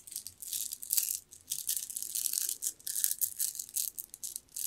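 A strand of green jade beads dangles and is gathered in the fingers, its beads clicking and rattling against each other. The sound is a run of bright, high, dry clicking bursts with almost no low end and very short decay, rising and falling in quick waves.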